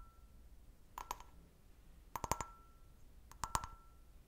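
A clear, hollow, empty stemmed glass goblet held in hand is tapped with long nails on its bowl and base in three quick clusters of light taps. Each tap is a short, bright clink pitched around 900 Hz that dies away almost instantly, over a quiet background.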